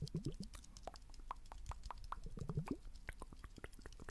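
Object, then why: Small liquid-filled glass globe. Fingernails tap rapidly on the curved surface of a small blue liquid-filled glass facial ice globe held steadily in the hand. Many quick, quiet taps run together as soft, dull clicks and low plops that die away almost instantly.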